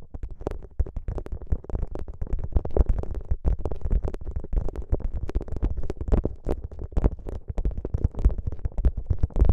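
Fingertips press, squeeze and rub a soft, flexible plastic gel bead ice pack (a clear plastic pouch filled with green gel beads) draped over the microphone. The result is a dense, continuous stream of muffled low thumps and squishy crackles, heavy in the deep bass, with short, dry taps and no ringing.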